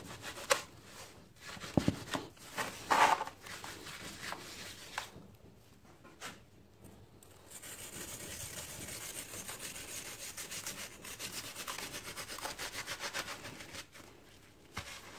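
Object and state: Dry sand-cement chunk crumbling.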